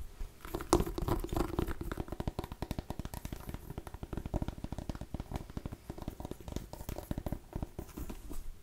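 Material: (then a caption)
Pumpkin rind. A small cream-and-orange striped mini pumpkin, a hollow gourd, is held close to the mic and scratched and tapped with long nails. Quick, dense taps and scratches run throughout, giving a low, hollow, knocking sound with a slight resonance around 350 Hz and very little high-frequency content.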